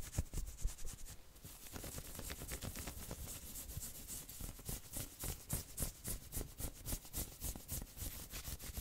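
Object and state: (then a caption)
Knit sweater being scratched. Long nails scratch quickly across a worn, dark red patterned knit sweater, first along the sleeve and then over the shoulders. Quick, rough rasping strokes sound, each with a bright, hissy scrape over a dull low rumble. The strokes become steadier and more rhythmic as the scratching moves on.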